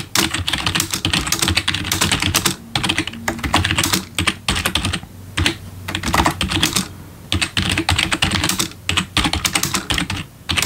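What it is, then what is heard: Plastic keyboard being typed on. A full-size black plastic membrane gaming keyboard with RGB backlit keys, resting on a wooden desk, is typed on quickly with the bare fingertips of both hands. Dense, bright key clicks and clacks come in rapid bursts, separated by a few short pauses.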